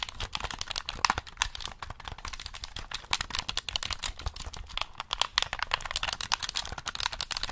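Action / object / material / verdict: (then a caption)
tap / plastic game controller / plastic / none. Fingertips tap and click the buttons and shell of a black hollow plastic gamepad held in both hands. A rapid, uneven stream of dry, bright clicks and hollow taps follows, each one ending instantly with no ring.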